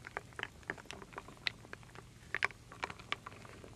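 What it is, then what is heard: Wooden beads and acorn pieces stirred in a wooden bowl. A wooden spoon stirs and scoops wooden beads and acorn pieces, small solid wooden pieces, in a full wooden bowl. About fourteen quiet, dry, bright clicks and rattles are heard, each dying away almost at once, with soft shuffling in between.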